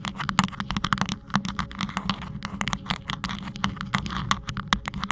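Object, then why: Rhinestone-studded microphone sleeve. Fingertips and nails of both hands continuously scratch and tap a hollow, green rhinestone-studded cylindrical cover fitted on a Blue Yeti microphone. Rapid, dense, bright clicks and scrapes from the gems run throughout, over a steady low hum near 190 Hz. The taps are crisp and die away almost instantly.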